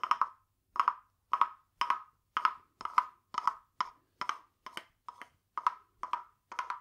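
A small, hollow, carved wooden frog guiro, painted glossy green with a ridged back, is held in one hand and rubbed and tapped along its ridges with a green wooden stick. It gives thirteen short bursts of dry, hollow, woody clicks centered near 1 kHz with bright edges. Each burst dies away almost at once, leaving brief silences between them.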